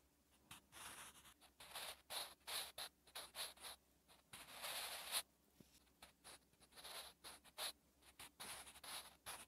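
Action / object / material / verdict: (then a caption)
scrape / graphite pencil on a lined paper notebook page / paper / none. A wooden graphite pencil held in the fingers writes Korean handwriting on a lined paper notebook page. It makes steady, bright scratching strokes in short bursts with brief pauses between them, plus a longer continuous scrape near the middle.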